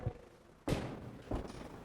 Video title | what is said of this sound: Chetan Raikar on Maintenance & Repair of structures - Part 11 of 42 | पोकळ आवाज येतो. कारण हे हात जर पूर्ण कॉन्क्रीटचा एक उथळा असता तर असा आवाज आला नसता, बद्ध आवाज आला असता.